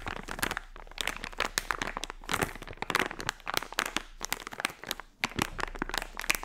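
A small, colorful, crinkly plastic foil blind-bag toy pouch filled with a soft toy is held in both hands while long-nailed fingertips squeeze and scratch the film. Dense, bright crinkling and crackling bursts come in quick uneven clusters with very short ring.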